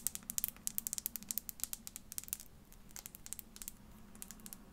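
Long fingernails tap and scratch a tiny clear glass bottle, holding a small amount of colored content, while it is held between the fingers. The result is a rapid, irregular stream of sharp, bright clicks that die away instantly, over a faint low steady hum.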